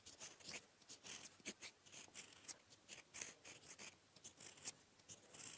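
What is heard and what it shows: A gold metal fountain-pen nib, held in the fingertips, writes blue ink strokes on a flat sheet of lined paper resting on a desk. The nib scratches and glides across the paper in a quick series of short, bright, dry strokes with almost no low end. Each stroke stops with no ring between them.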